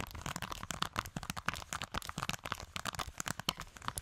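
Long acrylic nails tap and scratch a hand-sized, purple, octagonal silicone push-pop fidget toy with hollow bubbles, held in both hands. A dense, rapid run of short, dry clicks and crinkly scratches comes through, bright with a midrange tone around 1.5 kHz and almost no ring after each tap.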